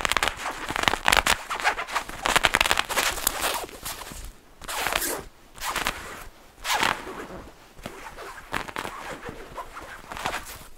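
Fingertips and nails of both hands scratch and rub the shiny fabric of a black padded nylon jacket hood with a faux fur rim, worn on the head. Dense, bright, crackling scratches come in quick irregular bursts, loudest early on. Later they give way to softer swishing rubs separated by short pauses.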